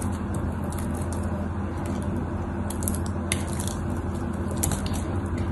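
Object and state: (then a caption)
Bar of soap being shaved. A craft knife shaves and cuts the edges and face of a solid white bar of soap, with curls and chips falling off. Soft, crisp scraping ticks and brief bright crackles sit over a steady low hum that runs throughout at a fairly even level.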